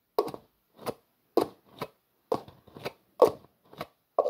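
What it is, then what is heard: Plastic jar screw lid being scraped. Fingertips twist and scrape the black plastic screw lid of a translucent plastic jar. Nine short, dry scraping and clicking bursts with a bright edge come at an uneven pace, alternating stronger twists with softer scrapes. Each one stops almost at once, with no ring.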